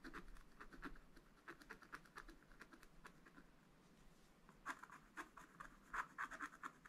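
A wooden stylus scratches lines into the black wax coating of a thin scratch-art paper page in a spiral book. It makes a quiet, dry run of short, bright scraping strokes with a papery rasp. The strokes are lighter and steady at first, then come louder and sharper toward the end.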